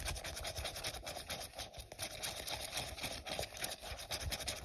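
Short fingernails scratch along the side of an empty, hollow, translucent printed plastic cup held in the hand. The result is a steady, bright, raspy scratching with a faint hollow tone and quick, rhythmic strokes that blur together.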